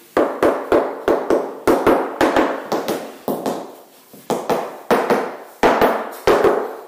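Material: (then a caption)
Cement screed. A hammer taps 20 times on a tile-ready cement floor screed laid over a concrete slab, each strike a sharp knock with a hollow, boxy midrange ring that fades quickly, in an uneven rhythm. The screed sounds clearly hollow, meaning it is not bonded to the slab below. For a tile-ready screed this is not necessarily a problem, since the tiles have held for 30 years.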